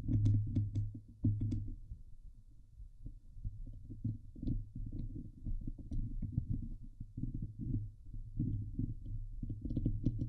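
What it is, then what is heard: Metal mesh microphone grille being scratched. Long nails scratch the hollow steel mesh dome grille of a Blue Yeti microphone, producing a dense, low, rumbling scrape with rapid, irregular bursts of texture and occasional bright ticks. The sound stays mostly deep and muffled, swelling and fading in uneven waves throughout.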